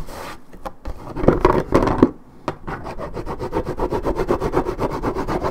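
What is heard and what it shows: Long red nails scratch and rub the coated cardboard top of a 1.75 L Minute Maid paperboard orange juice carton. A few louder, uneven scratches come first, then a steady run of quick, dry strokes at nearly four per second. The scratching is close and crisp, with no ring after each stroke.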